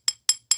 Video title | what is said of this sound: Half Nitro. Half Electric. 100% Insane! | It doesn't sound like plastic. It sounds like ceramic.